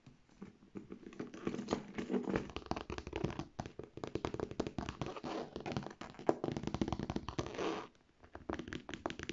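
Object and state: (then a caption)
Faux leather handbag, tapped and scratched. Long dark red painted nails rapidly tap and scratch the textured side panel of a structured beige faux leather handbag with gold metal handle fittings and a gold plate, hollow and apparently empty, while the other hand holds the handles. The result is a dense, quiet stream of soft, dull taps and scratchy rustles, mostly low-mid with little high end, pausing briefly near the end before resuming.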